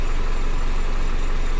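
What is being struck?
Nothing is struck.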